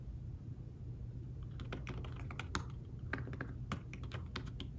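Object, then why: Fabric-covered tablet keyboard. Fingertips tap the keys of a thin fabric-covered tablet keyboard case while typing, making soft, quick, dry clicks with a bright edge that begin after a short pause and grow denser. A steady low hum sits underneath throughout, and each tap dies away almost at once.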